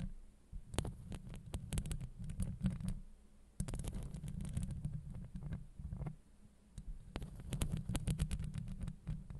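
Long acrylic nails of both hands scratch the top of a hollow steel mesh microphone grille. The result is a deep, muffled rumbling scrape with rapid bursts of crisp ticking, coming in dense waves that briefly ease off before starting again.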